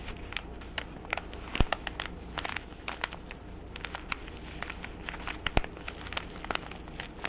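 A fingertip with short painted nails scratches and rubs the crinkly white tissue-like paper around the jute twine bow of a small flat parcel lying on a wooden table. Many quick, dry crinkles and sharp crackles pop out over a quiet bed of soft paper rustle and a faint low hum, each one bright and dying away almost instantly.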